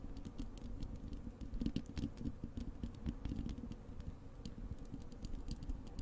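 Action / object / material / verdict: scrape / wire-mesh metal microphone grille / metal mesh / none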